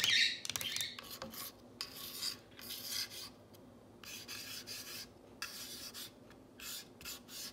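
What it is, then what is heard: Painted wooden sign. Long nails trace, rub and scratch the painted letters on a solid, whitewashed wooden plank sign reading "You make me happy." The strokes come as bright, raspy scratching bursts with short pauses between them and almost no low end, loudest at the very start and quieter afterward.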